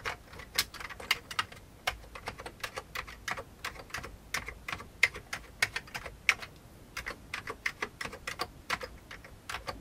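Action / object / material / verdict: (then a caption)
tap / plastic computer keyboard / plastic / none. Fingertips of both hands type steadily on a full-size old beige plastic computer keyboard with a hollow plastic case, producing about 37 crisp, bright clicky keystrokes. Each click dies away almost instantly, with its sharpest tone around 2 kHz and very little low end.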